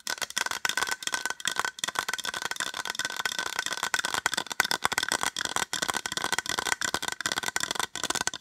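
Long acrylic nails tap fast across the top of a small white hollow plastic case. The result is a dense, continuous stream of sharp, dry clicks with almost no low end, a bright sheen and a steady resonance near 1.5 kHz, each tap dying out almost instantly.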